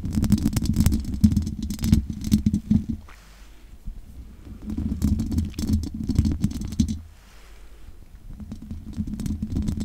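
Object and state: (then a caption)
Metal mesh microphone grille scratched. Long nails scratch the hollow metal mesh grille of a large condenser microphone, making dense, rough scraping bursts with a boomy low-end resonance near 215 Hz. Rapid, irregular scratches and taps come in three stretches, separated by quieter pauses around 3–4.5 seconds and 7–8.5 seconds.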